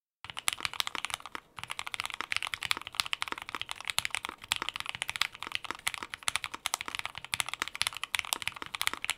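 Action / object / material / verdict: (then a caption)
tap / mechanical keyboard with plastic keycaps / plastic / none. Two hands type with their fingertips on a white 60% mechanical keyboard, the Prophet, fitted with Gateron Ink Black V2 switches and plastic keycaps. A steady stream of quick, bright, crisp key clacks follows, each dying out at once, with a brief pause near the start before the typing continues.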